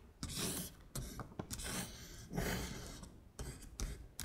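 A long acrylic nail traces and taps across red Korean letters printed on a flat beige paper sheet. Dry, bright scratching strokes of varying length are broken up by sharp little taps, over a soft low rumble.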